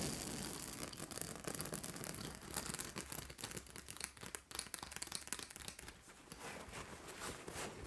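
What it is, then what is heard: Plastic-spiked acupressure mat. Long nails scratch across a large purple fabric acupressure mat with white plastic spikes, while hands rub the fabric. The result is a dense, bright, rasping scratch with rapid clicky ticks and soft rustling, rising and dipping in intensity before easing into a smoother rub.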